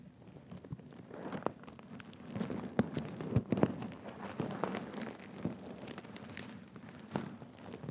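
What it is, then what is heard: Sequin cushion being scratched. A soft, stuffed black and gold reversible sequin cushion rests on a lap while fingertips and nails scratch and brush across its sequins. The result is a quiet, continuous crinkling and scratching texture with many small, sharp clicks, mostly low-mid in tone with faint bright edges.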